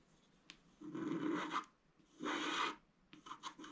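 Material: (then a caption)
Coated card. A wooden stylus scratches dense hatching into a scratch-art card (black coating over colored foil) lying flat on a table, drawing a tree. After a faint tick, two long, raspy scratching strokes with a bright edge are followed by a run of quicker, shorter scratches.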